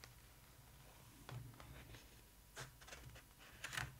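Long acrylic nails tap and scratch the glossy paper pages of an open photo book, with a page turned in between. The sound is quiet, made of short, dry, bright taps and scratchy strokes over a low hum, with a louder flurry of clicks near the end.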